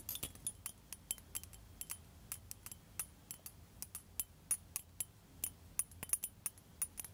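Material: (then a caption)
Glass. A blue liquid-filled glass facial ice globe on a glass handle is held up by the handle and tapped on the ball with long pointed metal nail tips. Quick, irregular taps make short, bright, high glassy clicks that die away almost instantly over a faint low background rumble.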